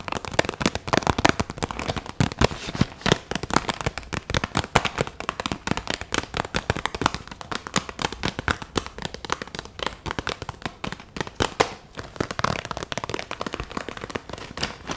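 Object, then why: Clear vinyl pencil pouch with markers inside. A clear vinyl pencil pouch with pink trim, full of markers, is held up and shaken and squeezed by hand. The plastic crinkles continuously while the pens inside rattle in a dense stream of sharp, crackling clicks for the whole clip.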